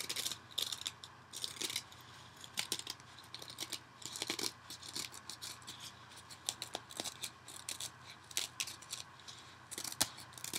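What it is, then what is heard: Cellulose kitchen sponge being scratched. A yellow cellulose kitchen sponge is held over a bowl, scratched with fingernails and squeezed or bent by hand, possibly with some ripping mixed in. Dry, bright, crackly scratching comes in quick irregular bursts of short, sharp clicks and rasps over a faint steady low hum.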